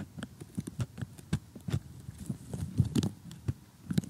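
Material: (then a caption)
Cardboard. Metal tweezers poke and pick at the loose pieces of a blue sky section in a glossy cardboard jigsaw puzzle while fingernails rest on it and tap. The result is a quiet, irregular run of short, dull, low clicks and taps with no ring, clustering more densely in the middle.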